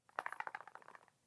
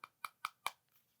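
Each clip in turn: First: A quick run of dry, mid-pitched clicks with no ring: a glass perfume bottle rattling loosely in its casing. Second: Four crisp, bright taps near 1.1 kHz die out almost instantly: a snug glass perfume bottle with no rattle.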